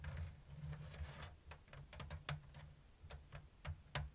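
Long blue nails tap on a round, hollow basket woven from thin bamboo strips in an open diamond weave. A series of short, dry, bright clicks sounds over a steady low hum, each dying away almost at once.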